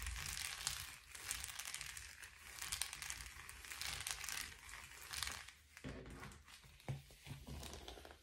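A blue metallic foil bubble padded envelope lies flat on a table and is then picked up while fingertips tap and scratch across it. The result is a steady, bright crinkling and rustling with soft taps and a faint low hum underneath.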